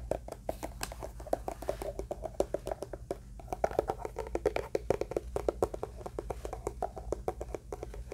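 Fingertips and nails tap and scratch along the surface and seam of a closed, black, hollow, hand-sized hard-shell eyeglass case. A rapid, uneven series of short, dry clicks gives a hollow tone around 500 Hz, with soft scratching between taps. The taps fade almost instantly over a faint steady low hum.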